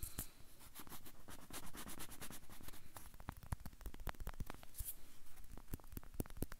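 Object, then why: Banana peel. Fingernails scratch and tap the peel of a whole banana held upright close to a microphone. Soft, dry scratching runs throughout, broken by many sharp, short taps that stop almost instantly, with a close, low-heavy tone.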